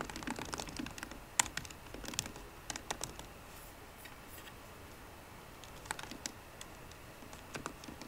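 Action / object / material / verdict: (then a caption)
tap / aluminium laptop keyboard with plastic keys / plastic / none. Fingertips with short green nails tap slowly on the low-profile plastic keys of a 13-inch aluminum MacBook Pro keyboard. Light, bright clicks come in irregular bursts with very short decay, separated by a quieter stretch in the middle of the clip, over a soft background hiss.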